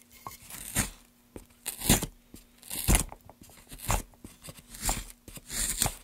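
A gloved hand carves curls from the top of a solid light pine plank block resting on a dark mat, using a small metal gouge. Crunchy, tearing scrapes come roughly once per second, each a short rasping burst with bright, hissy upper edges over a faint steady low hum.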